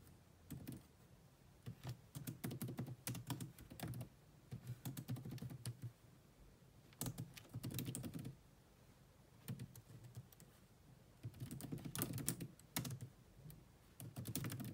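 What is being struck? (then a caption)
Plastic laptop keyboard. Fast typing with long manicured nails and fingertips on the dark plastic chiclet keys of a grey laptop with a hollow body. Quick clusters of short, dry clicks come in bursts separated by brief pauses, with a low hollow thud under bright tapping transients.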